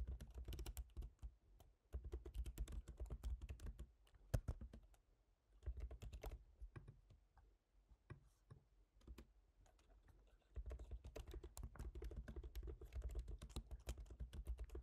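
Fingertips type on the plastic keys of a silver MacBook Pro's aluminium laptop keyboard and tap near the trackpad area. Quiet, dull, rapid clicks come in bursts with short pauses between runs, and the sound is mostly low, soft thuds with little bright click.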